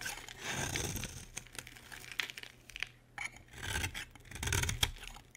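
A solid green rectangular bar of soap, held in the hand, is scraped with a utility knife blade so that flakes fall off. Bright, rasping scraping strokes swell and fade, with a low rumble under the louder passes and short sharp ticks between them.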